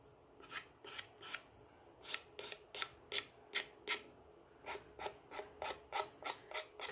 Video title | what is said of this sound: How to Decoupage - Decoupage DIY - Decoupage Ideas - Decoupage Décor - Tree Crafts | it almost sounds like it's Hollow when I'm filing